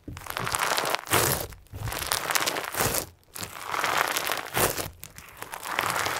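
A soft, solid lump of crunchy pink and white slime with plastic sequins is kneaded and squeezed tightly in both hands, then set down on a white table. Dense crinkling, crunching crackles come in bright bursts, with brief quiet gaps between squeezes.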